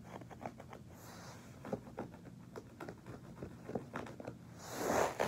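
Fingertips scratch and rub the pile of a soft beige fabric carpet laid flat as a floor covering, making a quiet patter of short, dry scratches and brushy scrapes. At the end, the knuckles and fingers of a hand press and rub the pile, building into a louder, brighter rustle.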